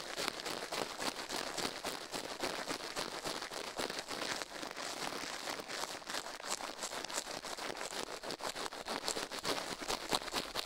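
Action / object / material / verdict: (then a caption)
scrape / silicone ear of a binaural microphone / silicone / none. The left silicone ear of a binaural microphone, resting on a steel plate, is brushed rapidly with a toothbrush while the other gloved hand rests still on the right. The result is a steady stream of dense, bright, scratchy bristle strokes with almost no low end, each stroke short and dry with no ring.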